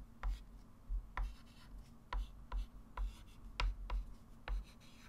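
A hand writes digits and draws circles and arcs with a white chalk stick on a small, flat, framed blackboard resting on a table. The chalk makes short, irregular scratches and light taps against the board, each with a brief bright crackle. A steady low hum sits underneath throughout.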